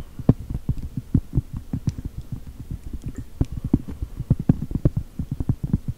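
Long gel nails tap and scratch a large, thin, solid round cork board printed like a chocolate chip cookie. A quick, irregular stream of dull, muffled taps lands mostly in the low range, each dying away almost instantly, with faint scratchy friction between them.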